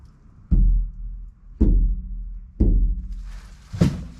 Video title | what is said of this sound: EPISODE 2 MICRO CAMPER BUILD \ INSULATION \ VAPOUR BARRIER OR NO VAPOR BARRIER? | just that piece of sound deadening does the job oh you hear that dead sound